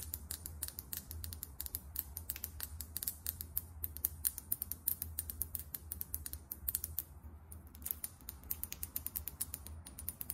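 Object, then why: Small glass bottle of liquid foundation. Long nails tap fast on a small glass foundation bottle filled with beige liquid and topped with a champagne cap. The result is a rapid, uneven stream of sharp, bright clicks that die away almost instantly, over a steady low hum.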